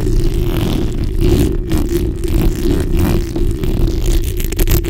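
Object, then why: Steel mesh microphone grille. The backs of long nails scratch across a black hollow steel mesh microphone grille. The result is a loud, continuous, deep rumbling scrape, heavy in the low end with a steady buzzing band just above it and only faint high detail. Swells and flicks of the strokes show throughout.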